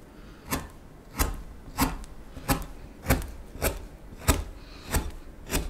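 A small steel knife cuts and scrapes the back of the bowl on a solid wooden spoon blank in a steady series of short, dry strokes. Each stroke is a brief, bright scraping burst over a low thud, with almost no ring, separated by quiet pauses roughly every second.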